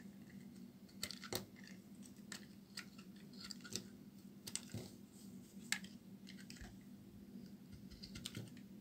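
A palm-sized solid white embossed bar of soap, held in the hand, is cut and scraped with a metal utility knife blade, breaking off chips. Soft, dry scraping alternates with short, sharp, bright clicks and snaps as the chips break away, over a low steady hum.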